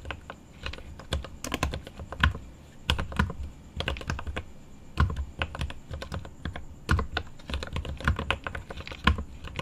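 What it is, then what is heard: Mechanical keyboard typing. Fingertips type on the plastic keycaps of a mechanical keyboard with an aluminum case. A steady, irregular stream of keystrokes with a deep low thud and a short bright click on each press, dying away almost instantly, with a few heavier presses standing out from the rest.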